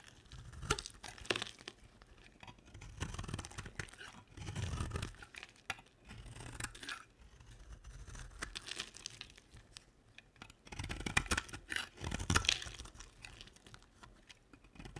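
A hand with long nails holds a two-tone pink and white bar of dry soap while a box-cutter blade shaves and scrapes it. The result is a run of bright, crumbly scraping and crunching bursts with short pauses between strokes. Each cut is dry and crisp with almost no ring.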